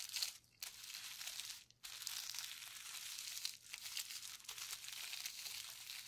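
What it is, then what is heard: Plastic bubble wrap sheet. Gloved fingertips press and rub a flat sheet of clear plastic bubble wrap, its hollow air-filled bubbles wet with paint, lying on a white table. The result is a steady, bright crinkling and sticky rubbing texture with almost no low end, broken by two short quiet gaps near the start.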